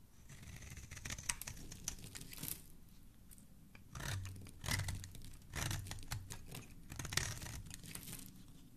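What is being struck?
Bar of soap.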